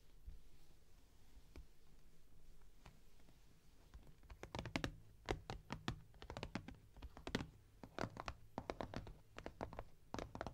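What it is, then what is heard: Cardboard box tapped and scratched with nails. Long nails scratch softly across a closed, printed cardboard box, then tap it in quick bursts of short, dry, hollow knocks with a low thump and no ring. The box is then lifted upright and held.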